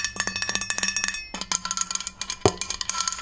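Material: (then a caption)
Stainless steel. A large, hollow 40 oz white-coated stainless steel Takeya water bottle is held horizontally and tapped on its body with long nails in a quick series of about 22 taps. Each tap gives a short, bright, bell-like ring over a low steady tone, with one louder strike partway through.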